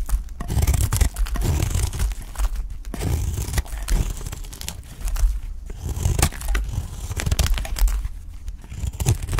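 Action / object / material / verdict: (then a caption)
scrape / soap bar cut with a utility blade / soap / none. A utility knife blade cuts and scrapes thin slices off a solid, dry, cream-colored piece of soap held in the fingers. Continuous crisp scraping and crunching strokes come with bright, tearing crackles. A heavy low thud-like rumble dominates underneath, and the texture swells and eases across the clip.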